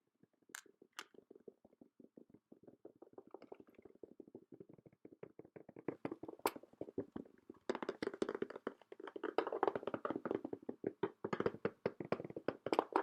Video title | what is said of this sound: ASMR Showing You My Top Water Tackle Soft Spoken | the hooks you can hear on the plastic, this hard plastic